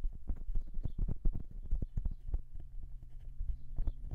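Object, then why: Metal microphone capsule housing. Fingertips of both hands drum and tap on the metal capsule housings of a silver dual-capsule microphone. The result is a rapid, uneven run of soft, deep, muffled thumps with almost no ring, like hollow hoofbeats. A faint low steady hum sits under the second half.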